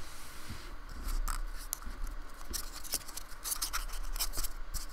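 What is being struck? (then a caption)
Painted polystyrene foam block. A fingertip-held metal painting tool dabs, scratches and rubs a small, solid polystyrene foam square with a rough, painted surface, lying on a wooden table, in short strokes. Dry, bright scratching and crisp scraping bursts come and go over a steady low rumble.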